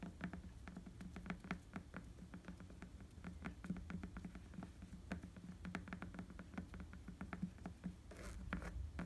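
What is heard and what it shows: Fingertips tap and scratch on an inflated tan rubber bicycle tire with tread, making a quiet, rapid patter of many soft, dull taps. The taps die away almost instantly over a steady low hum, with brief bright scratchy strokes mixed in.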